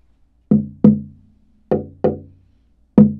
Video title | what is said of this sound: Tap Tone Comparison between Bolivian rosewood with Spruce Top and a Koa OM Guitar by Portland Guitar | we hear very similar tones on the top in the back